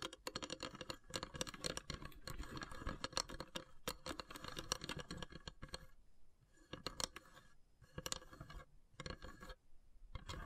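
Long grey nails tap and scratch across the carved, perforated lid of a long, narrow, hollow wooden incense box. Dense bursts of dry, bright clicks and scratchy rasps follow one another quickly, with no ring after each hit. Around the middle there is a quieter patch with short pauses before the tapping picks up again.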